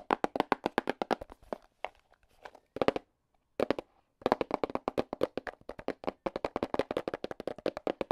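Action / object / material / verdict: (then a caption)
tap / small cardboard box / cardboard / none. A small, hollow black and red cardboard box is tapped rapidly with AA battery tips worn on the fingers. About 49 quick, dry taps with a hollow midrange tone near 540 Hz come in fast bursts, with brief quiet gaps around the two- and three-second marks. Each tap dies away almost instantly.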